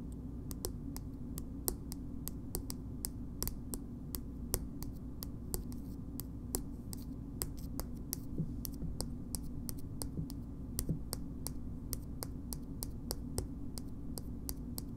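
Long nails tap the purple hard plastic cap of a small plastic BB cream cosmetic tube held in the hand, producing dozens of short, sharp, bright clicks at a steady, unhurried pace. Each click dies away almost instantly over a quiet, steady low hum.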